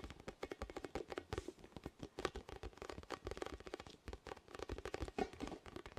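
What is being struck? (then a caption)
Inflated vinyl spiky ball. A large, orange, hollow, inflated plastic or vinyl ball with soft spikes is held near the mic and tapped and scratched with fingertips and nails. Rapid, dense, dry taps carry a hollow midrange body, mixed with brief scratchy rustles. Each hit dies away almost instantly, with no ring.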